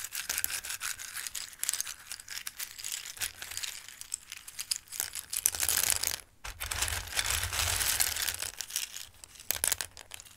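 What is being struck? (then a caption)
Dry pasta shapes in a bowl. Hands scoop handfuls from a full bowl of raw, dry Christmas-shaped pasta and let the hard pieces trickle back down. The pieces rustle and clatter in bright, dense bursts, with a brief pause just past the midpoint before the pouring resumes.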